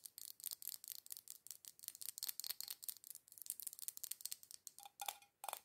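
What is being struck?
Small glass candle jar with metal screw lid.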